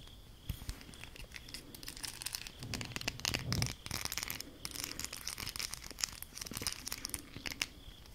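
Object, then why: Ridged plastic highlighter pens. A small bundle of colorful ridged plastic highlighter pens, held together, is scratched and tapped with long acrylic nails. The result is a steady stream of dense, crisp scratching and clicking that sits mostly in the high frequencies. A louder burst of rustling comes around the middle.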